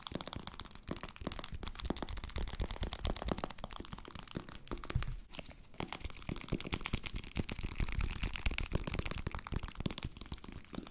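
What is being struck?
Plastic powder bottle.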